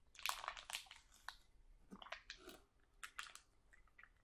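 A full, sealed plastic package of sauerkraut is lifted slightly and squeezed while fingernails scratch and crinkle its plastic film. Bursts of bright, crisp crackling and rustling come in clusters with brief quieter gaps, and there is a soft, squishy give from the contents. The sound is close and fairly quiet overall, with almost no low end.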